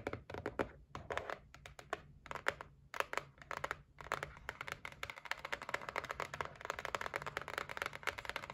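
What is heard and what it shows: Long nails tap and scratch along the top edge of a white cardboard gift box resting on a table. The result is a quick, steady run of dry, hollow clicks and thunks with brief scratchy strokes, each tap dying away almost at once, with brighter, denser tapping toward the end.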